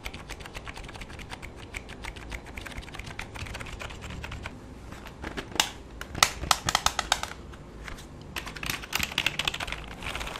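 A full-size black plastic keyboard with a hollow body is held in both hands while fingertips type on its keys. Steady, light, rapid clicking runs through the first half, then louder, sharper bursts of keystrokes come in clusters. The clicks are bright and dry and die away instantly.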